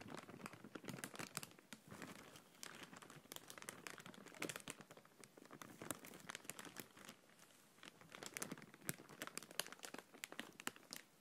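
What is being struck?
Thin plastic bag.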